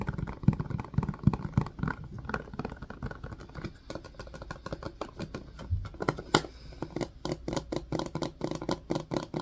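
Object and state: Silicone ice cube tray with plastic frame.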